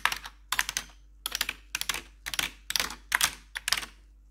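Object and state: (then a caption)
Plastic computer keyboard tapped with metal nails. Metal claw nails tap and click across the keycaps of a black plastic backlit computer keyboard in eight quick clusters of rapid, bright, dry clicks separated by short pauses. Each click stops almost instantly, and a faint steady low hum sits underneath.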